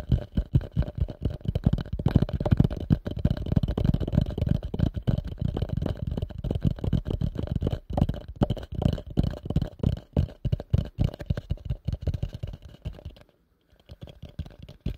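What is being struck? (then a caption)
Plastic bowl. A hollow, empty pale yellow plastic bowl turned upside down over the mic is tapped quickly on its outside with nails and fingertips. It makes a dense, steady stream of short, dull, boomy thuds, mostly deep and low, each dying away almost at once. Near the end the tapping briefly stops, then resumes more softly.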